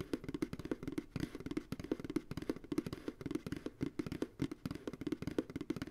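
Fingertips tap rhythmically on the bottom of an empty white plastic ice cream pail resting on a lap. The result is a quick run of dry, hollow knocks with a mid-low body around 300 Hz that die away almost instantly.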